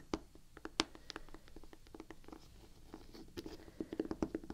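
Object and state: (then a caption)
Rubber shoe sole. Long painted nails tap and scratch the gum-brown, waffle-pattern rubber outsole of a canvas Vans sneaker held in one hand. Quiet, dry taps with short ring are scattered between soft scratching, with a denser flurry of taps near the end.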